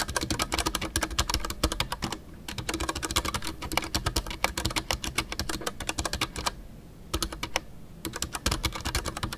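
Fingertips type continuously on a full-size Ducky One 2 mechanical keyboard with a white case, MX Brown switches and custom PBT plastic keycaps. Rapid, dry, short clicks and clacks with bright high ticks and a low thock run nearly nonstop, with brief pauses around 2 seconds and again near 7 seconds.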